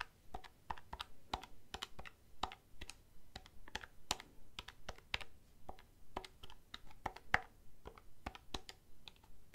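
Fingernails tap the keys of a black plastic desk calculator held upright, making about 38 short, dry, bright clicks at an uneven pace. Each tap dies away almost instantly, with a faint low hum underneath.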